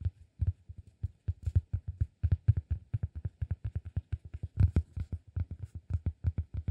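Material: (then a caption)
Cork. A solid, round, flat cork disk held flat on the palm is tapped with fingertips and short nails in a quick, uneven run of around forty taps. Each tap is a soft, dull, low thud centered near 105 Hz with almost no high end, dying away almost instantly.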